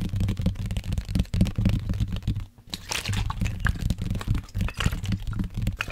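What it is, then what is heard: Plastic water bottle, hollow. Fingernails tap and scratch along the sides of a hollow black plastic sports water bottle with a blue cap that holds liquid. The result is a quick, uneven stream of dull taps and crinkly scratching with a heavy low thump, broken by a brief quiet pause midway.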